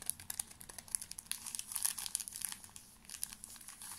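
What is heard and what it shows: A full small pocket pack of paper tissues in a thin crinkly plastic wrapper is squeezed and crinkled with fingertips close to the mic. Dense, bright crackling fills the clip with many quick crisp snaps and a soft rustle between them. There is almost no low end.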